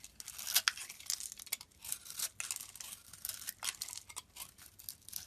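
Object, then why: Soap bar scraped with a metal blade. A metal blade scrapes and shaves curls off the surface of a solid, hand-sized yellow bar of soap held over a pile of soap shavings. The result is a quick run of bright, dry, crinkly scraping strokes with a papery tearing texture and almost no low end.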